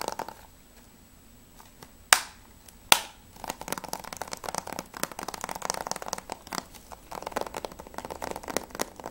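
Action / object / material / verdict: tap / plastic game case / plastic / none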